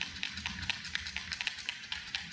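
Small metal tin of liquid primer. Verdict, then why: Loose. A tin of Sika primer, already checked to be in date, is shaken before use, giving a quick run of about 13 bright, sharp rattling clicks over a faint low hum. The rattle shows the contents have loosened and are being mixed, as expected.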